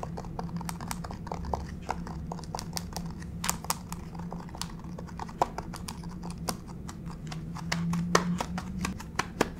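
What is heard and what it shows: Long pink fake nails on both flat-spread hands tap and scurry across a solid grey wood-grain plank laminate floor. Quick, sharp, bright clicks come in a rapid uneven patter over a steady low hum, with a few louder taps near the end.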